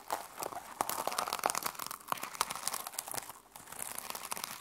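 Long pastel nails scratch and brush the teal and silver plastic flip-sequin fabric cover of a small closed notebook lying flat on a wooden table. The sound is a dense stream of quick, crisp clicks and rustles, with bright, dry ticks that die away almost instantly and almost no low end.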